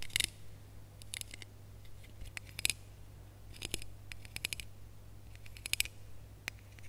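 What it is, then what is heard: Ribbed plastic Christmas bauble. Long nails scratch along the ridges of a small red, ribbed, hollow plastic Christmas bauble with a gold cap and hanger. Dry, bright scraping clicks come in short bursts over a steady low hum.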